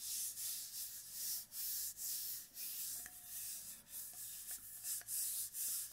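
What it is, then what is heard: Stainless steel water bottle. Fingers and palms rub and scratch along the body of a hollow brushed stainless steel water bottle held in both hands close to the microphone. The result is a bright, hissy scraping in uneven strokes, about two per second, with brief dips between them and a faint metallic ring underneath.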